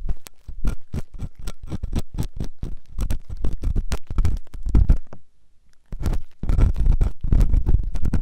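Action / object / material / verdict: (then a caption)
scrape / silicone ear microphone scraped with a steel ear pick / silicone / none. A flat stainless steel ear pick, held by the fingertips, scrapes a white silicone ear-shaped microphone. Quick, repeated scratchy strokes come through with a heavy low thump, and the sound drops to near silence for about a second before the scraping resumes.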